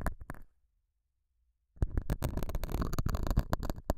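A metal dental scaler hook scratches the surface of a small, solid, square beige felt pad mounted over a small lavalier mic. Short, rough, close-up scratching strokes are heard for about half a second, then near silence with a faint low hum. A denser run of bassy, crackling scrapes fills the rest of the clip.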